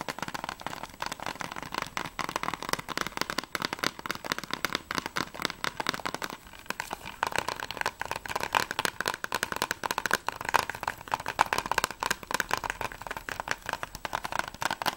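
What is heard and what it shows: Fingertips and nails tap rapidly on the back cover of a closed, hollow plastic Blu-ray game case for the PS3 (The Walking Dead), held in both hands. The result is a dense, continuous stream of dry, clicky taps, hollow and centered near 900 Hz with bright edges. Each tap dies almost instantly, with a brief lull in the activity around six to seven seconds.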